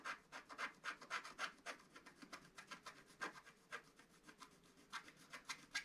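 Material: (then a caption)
Coated paper. A wooden stylus scratches near the bottom edge of a flat, black-coated scratch-art paper page. It makes a quick, uneven run of short, dry rasping strokes, with a gritty midrange and a bright hiss on each stroke. The scratches are quiet and fade almost instantly.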